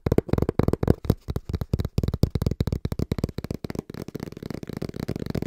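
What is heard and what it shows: Fingertips tap fast and rhythmically on the front face of a small, hollow brown cardboard box held flat in both hands. The taps come as dense bursts of dull, hollow, low thuds with almost no ring, and the pace speeds into a steadier, quieter patter toward the end.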